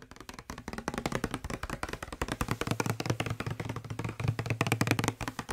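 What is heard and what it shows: A hollow blue plastic Febreze-style spray bottle, held in one hand, is tapped rapidly with the fingertips of the other hand close to the microphone. The result is a steady stream of quick, dry, hollow taps with a low body tone around 110 Hz, each dying away almost instantly.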